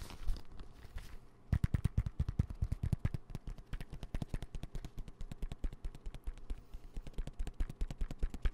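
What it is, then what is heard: Fabric zip pencil case. A dark green, soft-sided, hollow fabric pencil case with a lime zipper trim is tapped and scratched with fingertips and nails close to the mic. The result is a rapid, irregular stream of short, dull, low thumps with soft scratchy bursts in between. A brief scraping passage comes before a busier run of taps.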